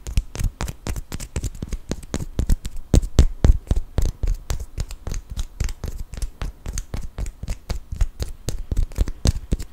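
A small solid cork wine stopper is held upright while a fingertip and nail tap and scratch it. About 50 quick, short taps land in an uneven rhythm, each a dull, deep thud with a faint bright scratchy edge that dies away almost instantly.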